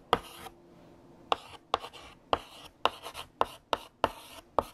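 A hand writes with lavender chalk on a large, flat black chalkboard. Nine sharp chalk taps are each followed by a short, dry, bright scratch as the chalk drags across the surface, with quiet pauses between strokes.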